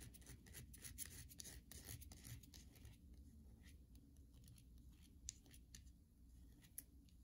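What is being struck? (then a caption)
Bar of soap. Long nails scratch and rub across the flat face of a solid white bar of soap held in the hand. The first three seconds bring quiet, dense, bright scratching over a low background hum, which then thins out into sparser light scrapes and a few sharp ticks.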